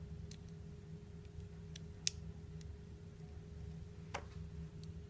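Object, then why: Glycerin soap cut with a knife blade. A utility knife blade slices thin pieces off the edge of a small, solid, translucent orange flower-shaped glycerin soap held in the palm. Each cut makes a short, bright, dry tick that stops almost at once, with two louder snaps standing out. The ticks sit over a quiet, steady low hum.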